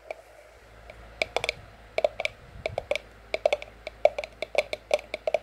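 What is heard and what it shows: Long acrylic nails tap on a white printed cardboard sleeve, bearing an orange price sticker, over the wall of an empty, hollow white ceramic mug. Twenty-two short, crisp clicking taps come in an irregular rhythm that grows busier toward the end. Each tap has a mid-pitched hollow tone and a bright edge that dies almost immediately.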